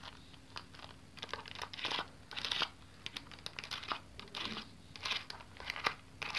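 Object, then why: Plastic pocket calculator keys. A small black plastic pocket calculator with a hollow casing is held in one hand while long yellow-painted nails tap and press its plastic keys. Quick, bright, clicky key taps come in bursts with brief quiet gaps. The sound is mostly high-pitched and sharp, with little low end.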